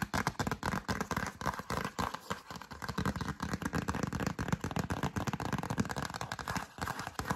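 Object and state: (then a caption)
Paper greeting card tapped and scratched with fingernails. A yellow cardstock greeting card held in both hands is tapped and scratched by long acrylic nails. Quick, irregular taps mix with dry scraping in a dense, steady stream of short, dull clicks that fade almost instantly.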